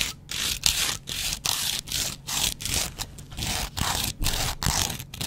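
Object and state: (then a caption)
Foam kitchen sponge. A double-edge razor blade scratches a yellow foam kitchen sponge with a green scouring layer in quick, repeated strokes. Each stroke makes a bright, gritty scraping rasp, with brief silent gaps between the strokes.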